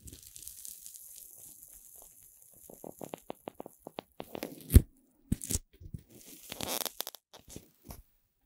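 A long chain of green puffed corn-starch foam playcorn pieces is held horizontally in both hands while fingertips with long red nails squeeze, bend and twist the joined segments. A hiss opens the clip, then a run of quick, closely spaced crunches gives way to louder rustling and squeaky crunches with a few sharp, brief peaks.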